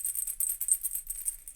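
A hollow ceramic clay spirit ball is shaken, giving a quick, bright, high-pitched rattle of small hard pieces clicking inside for under two seconds. In Native American belief, the maker leaves their spirit inside the ball, and that spirit is what is heard when it is shaken.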